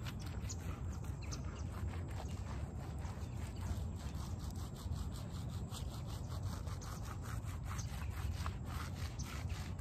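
A small shaggy fabric doormat with shag pile, covered in soap foam, is rubbed and raked with the bare fingers of both hands as it is washed. The sound is a steady, low, dense rubbing with repeated scratchy strokes and a faint bright fizz from the foam.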